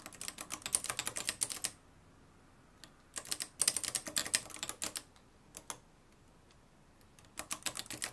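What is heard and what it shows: Fingertips type on the dark plastic keys of a mustard-yellow, plastic-cased manual typewriter with a metal mechanism. Rapid bursts of sharp, bright clacks come in three flurries, separated by quiet gaps with a few isolated keystrokes. Each strike is crisp and dies out almost instantly, with very little low end.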